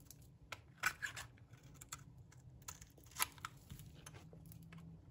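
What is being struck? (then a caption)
Bar of soap. A light green bar of dry soap held in a palm, in a hand with dark painted nails, is scraped and cut with a metal blade that shaves off curls. Quiet, irregular, dry scratchy scrapes and crisp crackles ring bright, with a few sharper louder strokes over a low, steady background hum.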